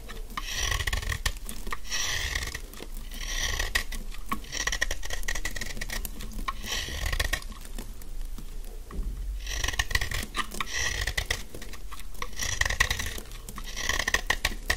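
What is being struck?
Bar of soap.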